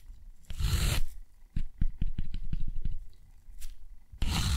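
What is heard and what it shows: A steel dip pen nib scratches repeated long parallel strokes across rough, thick, textured cotton paper. Broad, dry scraping sweeps open and close the clip, with a quick series of shorter, crisp scratches in between. Each stroke is a low, papery rasp with a bright edge that stops almost instantly.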